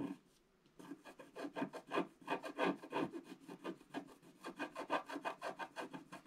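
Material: Coated paper.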